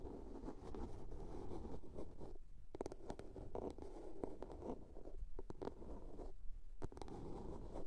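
Long polished nails scratch and tap a small hollow blue plastic soap case with a lid, resting on a fur rug. Quiet, low, muffled scratching runs throughout, broken by sharp, short clicking taps that die away almost instantly.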